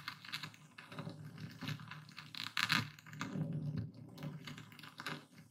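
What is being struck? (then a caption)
Coarse epsom salt in a wooden bowl under a stone pestle. A dark speckled stone pestle, held in the fist, pounds and grinds coarse white epsom salt crystals in a full wooden bowl. Each stroke gives a dull low thud under bright, gritty crackling as the crystals crush. The loudest, sharpest crunch comes about halfway through, followed by softer grinding.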